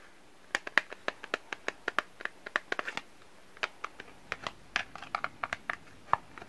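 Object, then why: Small cardboard box holding a bar of soap. A small, closed, printed cardboard box holding a bar of soap is held in both hands, handled and tapped with the fingertips. A quick, irregular series of sharp, dry taps and light scratches rings out, centered in the upper midrange with brief bright edges and almost no low end. Each sound dies away almost instantly, with short quiet gaps between them.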